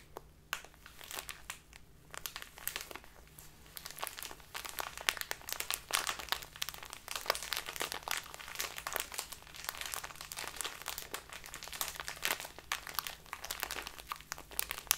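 A full plastic bag of dark loose tea is squeezed and crinkled by hands with long painted nails. Dense, bright crackling and crinkling continues for the whole clip in quick, sharp bursts over a faint, steady low hum.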